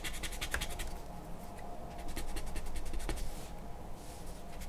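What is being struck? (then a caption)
Charcoal pencil on a paper sheet. A charcoal pencil scratches quick strokes across a large white sheet of drawing paper resting on a wooden table. The strokes come in a fast, loose rhythm of bright, gritty scraping over a steady low rumble.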